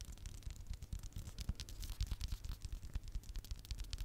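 Fingernails tap and scratch the cover and spine of a small red hardcover notebook held in one hand. The quiet clip is a fast, irregular run of soft, dull low taps mixed with bright, dry scratching strokes, each sound dying away almost at once.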